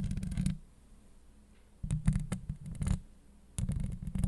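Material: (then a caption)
Steel mesh. Long acrylic nail tips scratch across a hollow steel mesh microphone grille in three separated bursts with quiet gaps between. The scratching is dense and rasping, heavy with low rumbling body and crisp high ticks on top.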